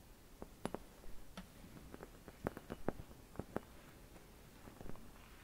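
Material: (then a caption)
Glass. Long red nails tap and scratch a hollow, empty clear glass Christmas bauble with white painted swirls, held in both hands. A quiet series of short, dry clicky taps with faint scratching comes over a low, soft rumble, each tap dying away almost at once.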